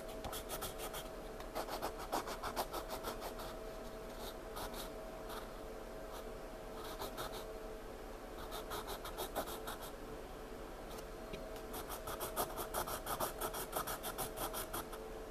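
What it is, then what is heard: Pencil drawing on sketchbook paper. A wooden pencil tip scratches continuous drawing strokes across a paper sketchbook page, heard in close-up. The sound is a quiet, dry, bright scratching in quick, uneven bursts of strokes, with short pauses between them.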